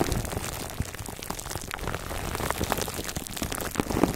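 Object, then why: Foam microphone cover wrapped in plastic film. A foam microphone cover wrapped in clear plastic film is rubbed by hands and then scratched with fingertips. Dense crinkling and scratching fill the clip with many quick, overlapping clicks and pops over a low rumble, with no pauses.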